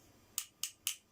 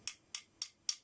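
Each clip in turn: First: Four sharp, high ticks that die almost at once: a hard, solid-printed plastic caster wheel. Second: Four quick, bright clicks that die almost at once: a plastic caster wheel that sounds hollow.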